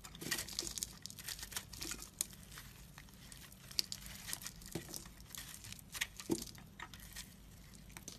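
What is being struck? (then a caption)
Bar of soap carved with a knife. A solid, crumbly pink and white marbled soap bar is held in the hand and carved with a knife blade that scrapes and cuts, shaving off flakes. The result is a quiet stream of bright, crisp scraping and crinkly crunching bursts over a faint steady low hum.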